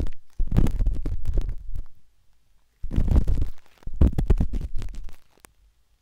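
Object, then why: Silicone microphone ear scratched with a metal-tipped stick. The metal tip of a wooden-handled dot stick scratches inside the ear canal of a pale pink, soft and solid silicone ear on a binaural microphone. Close, muffled, deep rumbling scrapes come in rapid, tapping bursts separated by brief quiet pauses, with almost no bright content.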